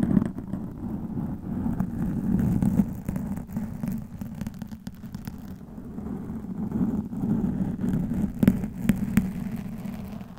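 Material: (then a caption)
Foam. A black foam microphone windscreen, soft and porous, is scratched with long metallic nails. The result is a low, muffled scratching rumble with a steady tone around 190 Hz and many quick, crackly scrapes, swelling and easing over the clip.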